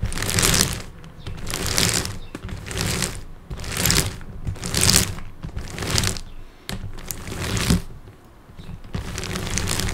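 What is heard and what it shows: Fingertips rest on and tap the top face of a large multi-layer plastic puzzle cube, a high-order Rubik's type with many small colored tiles and a hollow mechanism inside. Rapid, bright clicky tapping comes in repeated bursts with short quieter gaps between them, over a steady low hum.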